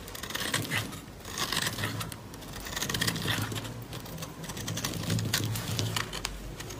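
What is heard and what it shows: A metal utility blade rapidly scrapes and cuts shavings off a solid white dry bar of soap held in the hand. Dense, dry, crinkly scraping and shaving strokes follow one another in quick, uneven bursts, with bright crisp edges over a low steady undertone.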